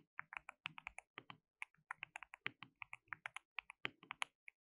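Both hands type continuously with their fingertips on a compact white-cased mechanical keyboard with a hollow case, white and pink plastic keycaps, and an RGB backlight. About 29 quick, bright, clacky keystrokes land in uneven bursts, each one sharp and dry with almost no low end and no ring.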